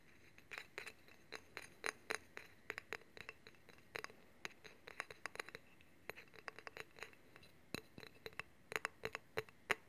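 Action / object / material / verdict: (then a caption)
tap / steel honing rod / steel / none. Fingernails tap and scratch along a long, solid steel honing rod held horizontally, and along its handle. The result is a quiet, irregular series of sharp metallic clicks and ticks, with a bright glassy edge centered near 2 kHz. Each one dies away almost instantly, with faint scraping between them.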